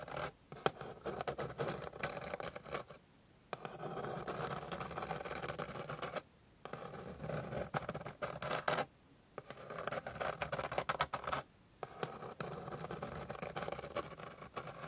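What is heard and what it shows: Long pink nails scratch repeatedly across the grained surface of a flat, light, solid wooden board. Dense, rapid scratching comes in sustained bursts, separated by a few brief silent pauses. The sound is mostly midrange with a dry, close texture.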